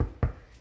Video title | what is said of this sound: Perfect Sourdough Bread for Beginners- The How and Why | another way to tell if a loaf is done is if it sounds Hollow on the underside and this one does